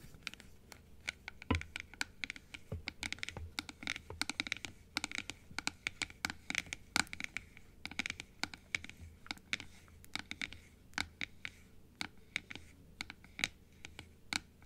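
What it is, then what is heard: Plastic dental teeth model. Long nails tap and scratch the blue plastic inner piece of a large, open plastic dental teeth model. Quick, dry, bright clicks and scrapes come in an irregular, steady stream for about 15 seconds. Each tap dies away almost instantly, with little low-end weight.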